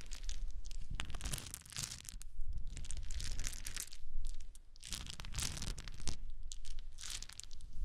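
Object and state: Wooden chips being handled.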